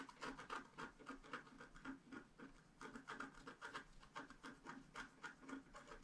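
A wooden stylus scratches the coating of a flat scratch art paper sheet in quick, repeated strokes, about three to four per second. Each stroke makes a soft, dry rasping scrape centred around 1.2 kHz, with faint bright grit and very little low end.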